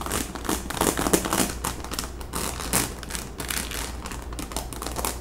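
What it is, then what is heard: Rhinestone-covered cap scratched with nails. Long nails scratch across the crown of a hollow pink baseball cap, held up and covered in small plastic rhinestones. The result is a dense, irregular run of crisp clicking and crinkly rasping, bright and gritty, over a faint steady low hum.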